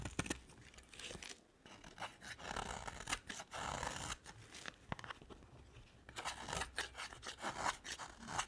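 A utility knife blade scrapes and cuts a dry, solid cream soap bar over a pile of shavings. Bursts of crisp, bright scraping with dry crackling and tearing-like rasps alternate with quieter pauses.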